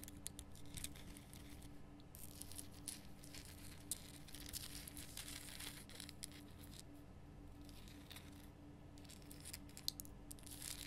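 Long nails scratch and tap across the top and sides of a large, lit, pink Himalayan rock salt lamp made of solid, rough salt. The result is a quiet, continuous, bright, gritty scratching with occasional sharper taps, over a steady low hum.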